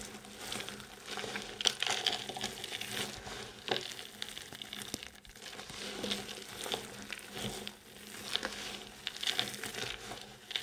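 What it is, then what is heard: Dry soap shavings being crushed. Both hands grab handfuls of a pile of multicoloured dry soap chips, squeezing, crushing and rubbing them while fragments fall back onto the pile. The result is a steady, bright, crumbly crinkling made of many small crisp crackles, swelling and easing in waves with almost no low end.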